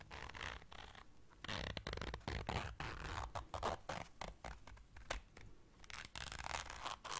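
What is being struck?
Small fabric zipper case.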